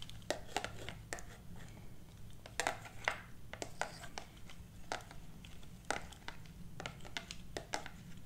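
Long black plastic claw finger extensions tap and scratch a solid hardcover book with a glossy printed cover held upright, and the claws may also clack against each other. Quick, sharp, bright clicks come in irregular clusters with soft scratching between them, over a steady low hum.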